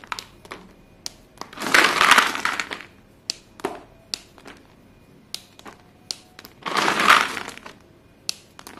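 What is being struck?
Pile of white chalk pieces.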